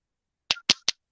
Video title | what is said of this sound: BIG Woods Morel.search | sounds like glass